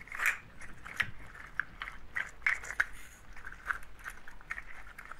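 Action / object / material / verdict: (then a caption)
shake / shaker of dried nut shells on twine / nut shell / none. A hand-held shaker made of clusters of dried, hollow brown nut or seed shells on a twine loop is held in the hands and shaken close to the microphones. It gives a quiet, dry, woody rattle of quick clicking and clattering, with a bright crispness centered in the mid-high range. Small sharp accents stand out above the rustle as the shells knock together.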